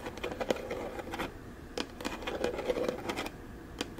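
Long, dark-painted nails tap and click rapidly on the ribbed sides of a small, hollow, rectangular teal plastic storage box with a lid, held in both hands. The taps are quick, dry and hollow-sounding, centred around 500 Hz with brief bright clicks. They come in uneven bursts with short quieter gaps and die away almost instantly.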